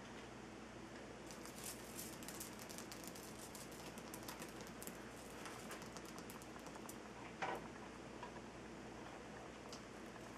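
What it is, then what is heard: Himalayan salt rock lamp. Fingers of both hands tap and scratch the rough surface of a large, solid, glowing Himalayan rock-salt lamp. Soft, dry clicks and scratchy ticks patter over a steady low hum, with one sharper, brighter tap near the end.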